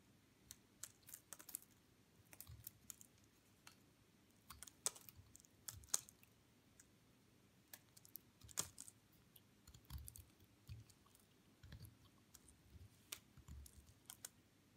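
A metal craft knife blade cuts and scrapes small cubes and flakes off a hand-sized solid white bar of soap with pink glitter edges, held in the hand. Quiet, dry, bright crackly clicks and scrapes come in uneven bursts with short gaps. Each tick stops almost at once.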